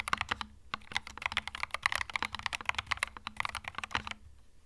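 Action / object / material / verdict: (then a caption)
tap / mechanical keyboard with plastic keycaps / plastic / none. A small 65% mechanical keyboard with plastic keycaps sits on a felt desk mat while the fingertips of both hands type steadily across the keys. The clip is a quick, continuous run of sharp, bright plastic clicks and clacks with almost no ring, over a faint low hum, ending in a brief quiet pause.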